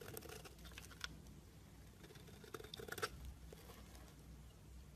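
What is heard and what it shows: A blade scrapes and shaves the surface of a solid pale green soap bar. Soft, crisp crackling scrapes run throughout over a faint low rumble, with a few sharper bursts near the one-second mark and again around two and a half to three seconds.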